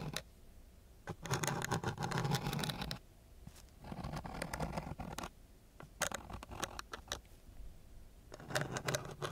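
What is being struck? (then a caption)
Sandpaper sheet scraped with a wooden stick. A thin wooden stick drags and scratches across a coarse brown sandpaper sheet, flat and solid, close to the microphone. Harsh, gritty rasping comes in loud bursts separated by quieter scraping, with sharp, bright clicks as the stick catches on the grit. The sound is dry, with almost no ring after each scrape.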